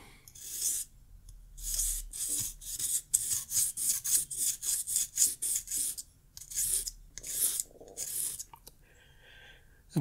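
The pointed tip of a green pen or pencil is rubbed back and forth across a small square of dark grey sandpaper held flat on a wooden desk. It makes a series of quick, bright, rasping scratches. Each stroke is short and dry, followed by a few slower strokes and a brief pause near the end.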